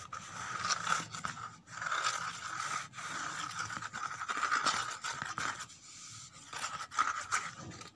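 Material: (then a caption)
Cardboard. Long nails scrape the inner surface and torn edges of an empty, hollow corrugated cardboard box. The result is a steady run of dry, rasping scratches with a strong midrange band around 1.3 kHz and bright, hissy texture above, rising and falling in short bursts with brief pauses between strokes.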